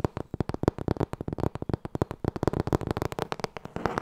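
Long nails tap rapidly on the cover of a thick, solid black hardcover book with gilded gold page edges while fingers riffle the page edges, producing a quick run of about 29 short, dry, dull taps. Near the end, a brief rustling riffle of the pages rises under the tapping.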